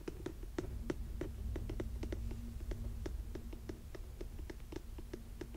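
Fingernails tap the sole of a burgundy suede lace-up boot, then scratch the suede upper near the laces. Short, dry clicks land at an uneven pace over a steady low rumble, with scratching that rubs softly between the taps.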